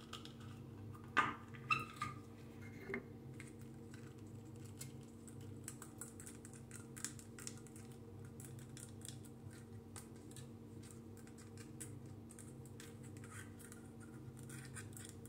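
A small roll of white adhesive tape on a hollow plastic core is held in both hands and tapped and scratched with fingernails along its sides and edge. A few sharper taps come early, then a steady run of soft, quick clicks and fine scratching with bright edges continues quietly over a constant low hum.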